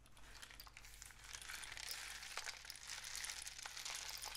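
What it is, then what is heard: Cardboard rainstick. A long, hollow, painted cardboard rainstick with a mesh end is tilted in both hands so its filling flows through the tube. It makes a steady, bright, rain-like pattering hiss that slowly builds in loudness, with small ticks scattered through it over a faint low hum.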